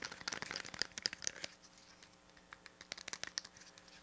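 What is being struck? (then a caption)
Plastic pocket calculator. Fingertips and nails tap and scratch the body, edges and rubber keys of a small, hollow, grey-silver plastic pocket calculator with a flip lid, held up close. A dense flurry of bright, crisp clicks and scratchy crinkling fills the first second and a half. It then thins to quieter, scattered light taps with almost no low end.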